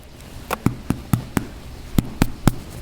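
Fresh-baked homemade burger buns, still hot from the oven with their collars just taken off, are knocked in a thump test for doneness. Eight short, dull, low thumps sound with no ring. The buns thump as baked-through bread should.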